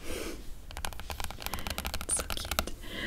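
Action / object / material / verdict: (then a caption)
tap / hardcover book with glossy cardboard cover / cardboard / none. Long coral nails tap and scratch across the glossy printed cardboard cover of a large, solid, flat hardcover Guibs comic album lying on fabric. A soft scratchy brush opens the clip, followed by a quick, irregular run of dry, crisp taps that die away almost instantly over a low background rumble.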